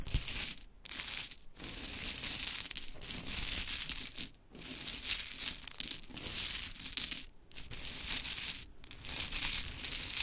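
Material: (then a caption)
Wood. Long chrome stiletto nails dig into, rake and shuffle a heap of mini pink wooden clothespins on glittery cloth. The pins clatter and click in a dense, bright, crisp rattle that comes in bursts. Brief pauses fall between the bursts.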